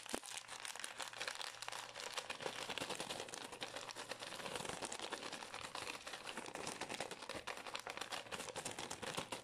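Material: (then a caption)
Plastic. A small green and white Pür gum plastic pouch, held in both hands, is crinkled, squeezed and scratched with long nails. The result is a steady, dense crinkling with bright, crackly texture and quick scratchy ticks running throughout, with almost no low end.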